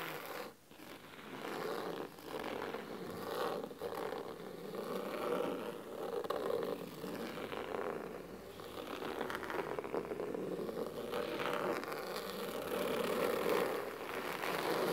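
Fingernails scratch the cloth cover of a thick, navy fabric-bound hardcover book resting on a wooden table. The result is a steady, crisp scratching texture of quick, irregular strokes, centered in the midrange with little low end.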